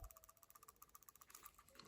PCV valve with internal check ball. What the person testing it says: Can you hear that ball now in there? So, there we go. We're starting to free it up.